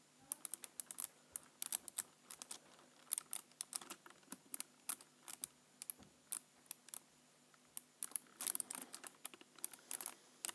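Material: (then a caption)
Plastic. Fingertips tap and type on the keys of a black plastic computer keyboard. The result is quiet, dry, bright clicks in irregular bursts and short runs, separated by brief pauses, with almost no low end and no ring.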